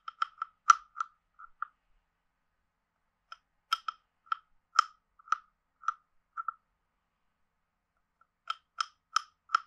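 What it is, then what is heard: Wooden frog guiro. A hand-sized, hollow carved wooden frog guiro is played with a wooden stick that is scraped along its ridges and tapped on its body. About seventeen short, dry, hollow clicks and knocks ring around 1.3 kHz with brief bright edges. They come in three loose clusters separated by silent pauses.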